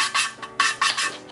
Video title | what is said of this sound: How To Rebuild BMW S85 V10 Cylinder Heads (V10 M3 Build) | the sound will change. It's gonna be less grindy. It's gonna be more creamy, you can say.